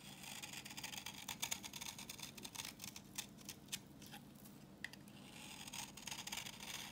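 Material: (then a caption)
Soap. A solid, translucent orange bar of dry vintage soap is held in the hand and scraped with a utility knife blade, peeling off crumbly yellow shavings. The result is a quiet, bright, crackly scraping, with many short crisp clicks and crunches over a faint low hum.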